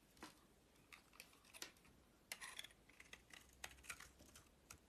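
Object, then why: Bar of soap scraped with a metal blade. A metal utility knife blade scrapes a hand-held, solid oval bar of purple soap with a white core and a purple rim. The result is a quiet series of crisp, bright scraping ticks and short shaving strokes centered around 2 kHz, each dying away almost instantly, with little low-end weight.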